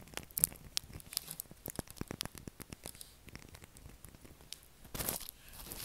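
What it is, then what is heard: Bar soap being scratched. A pale blue solid bar of soap with a scored surface is scratched and crumbled with fingernails, flakes falling away. Quick dry crackles and crisp scraping clicks come in a rapid, uneven patter, bright and high with little low end, closing in a denser rustling burst.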